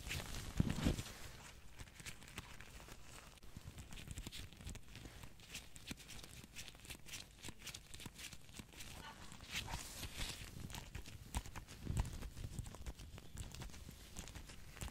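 Fingertips in latex gloves tap rapidly and rhythmically on the front cover of a small, hollow plastic Nintendo Switch game case for Pokémon Sword, held up close to a microphone. Each tap is a short, dry, low-pitched knock that dies away almost instantly, giving a steady, soft clip-clop patter.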